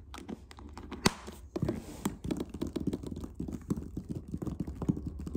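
Fingertips tap and scratch the top of a closed, hollow black hard clarinet case covered in textured stitched leatherette with metal latches. The result is a dense run of soft, low, dull thumps under a rough scratching hiss, with one sharper tap standing out near the start.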